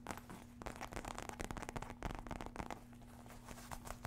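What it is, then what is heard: Faux leather wallet clutch, tapped and scratched. Long red nails tap and scratch the surface of a small red faux-leather wallet clutch with a metal emblem and zipper, held close to the microphone. The result is a steady run of short, dry, crackly taps and scuffs over a faint low hum.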